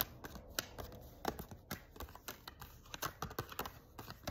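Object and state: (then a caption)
Paper tarot card deck. A stack of thin paper tarot cards is shuffled and flicked between the hands with the fingertips, above a spread of cards lying on the table below. Quiet, dry papery snaps and flutters come in an uneven, rapid run, each one sharp and dying away almost at once over a faint high hiss.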